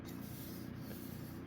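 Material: Nothing is struck.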